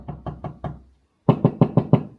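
Knuckle-style knocks on a section of drywall over a hollow cavity, not a stud, where holes poked to check found no studs. Nine short, dull, low thuds come in two quick runs: four softer knocks, a brief pause, then five louder ones. Each has a hollow, boomy tone and dies away almost at once.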